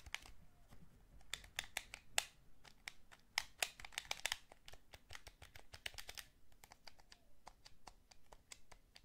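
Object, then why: Hand-held plastic game controller. A hand-sized, hollow blue plastic Sony PS3 DualShock gamepad is held in both hands while fingertips tap its shell and press its buttons and shoulder buttons. The result is a quiet, irregular stream of sharp, bright clicks and taps with very short, dry decay, some clustered closely together.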